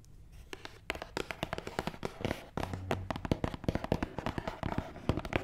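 Long nails tap quickly on top of a long, hollow black matte cardboard box, making a dense run of short, dry clicks. The taps are crisp with almost no ring and carry a hollow, low body from the box.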